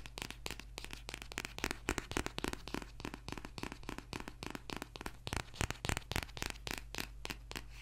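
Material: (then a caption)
Paper. Fingertips and nails scratch and tap the paper cover of a thick, dark paperback book, held in both hands and then laid down. Quick, irregular dry taps and rasping scratches run throughout at a quiet level over a steady low hum.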